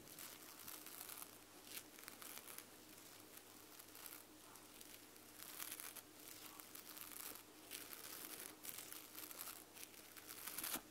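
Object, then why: Plush fabric back of an eye mask. Long nails scratch the white plush fabric back of an eye mask, producing a quiet, continuous crinkly scratching made of bright, hissy bursts that swell and fade. A faint steady tone sits underneath throughout, and the scratching grows slightly louder toward the end.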